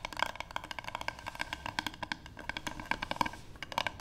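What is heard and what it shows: Long pink fingernails on both hands tap rapidly on a solid, light wooden paddle board, close up. The result is a continuous stream of short, dry clicks with a woody tone around 1 kHz, bright tips and almost no ring.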